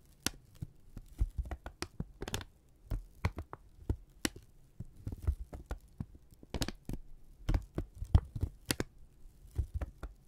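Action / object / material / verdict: scrape / thin kraft paper strip / paper / none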